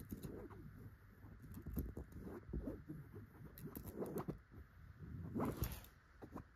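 Long gold metal claw nail covers tap and scratch across the grey fabric cushion surface of an upholstered couch. The result is a quiet, dull patter of soft thuds and rustling scratches, low in tone with short bursts and almost no ring.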